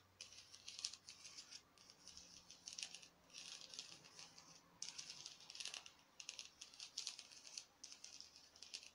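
Long acrylic nails rapidly tap an artificial orange ribbed craft pumpkin with a curly stem, foam or plastic, held in one hand. The quiet, dry, bright clicks come in clustered bursts with brief pauses between them, with almost no low end and no ring.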